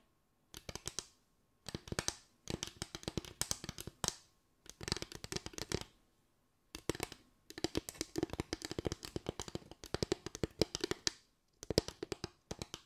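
Fingers tap a bamboo tray in quick bursts of short, dry clicks, with brief silent pauses between the clusters. Each tap dies away almost at once, with a hollow woody tone around 340 Hz over bright, crisp edges.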